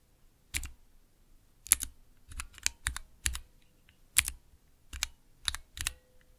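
Fingertips press and tap the clear plastic keycaps of a small 3x3 plastic mechanical keyboard switch tester, with Cherry MX switches in a clear plastic base, resting on dark velvet. A series of sharp, bright clacks with a soft low thump under each, spaced irregularly, each dying away almost instantly into near silence.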